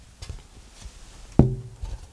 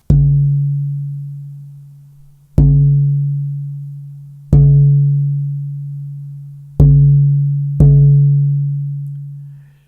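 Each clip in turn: First: dead-sounding spalted maple guitar plate. Second: lively, ringing rosewood guitar back plate.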